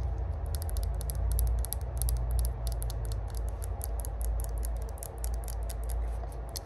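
Long glossy burgundy acrylic nails tap and scratch the flat, engraved "Spark" lid of a small hollow cylindrical rose-gold metal herb grinder held in the hands. The result is a steady stream of quick, bright clicking taps over a constant low rumble.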